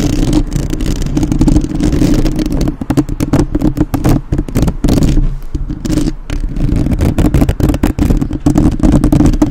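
Long nails tap and scratch the metal mesh grille of a black, uncovered microphone while both hands cup the grille. The result is a dense stream of fast, dull taps and scratchy clatter over a heavy, muffled low rumble, with brief drops in level before the tapping resumes.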